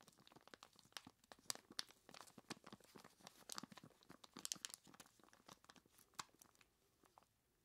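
A large clear plastic bag full of ice cubes is squeezed by hands in skeleton-claw gloves, giving dense, bright crinkling and crunching with sharp crackles as the cubes shift. The sound is mostly high-pitched with almost no low end, and it thins out and fades toward the end.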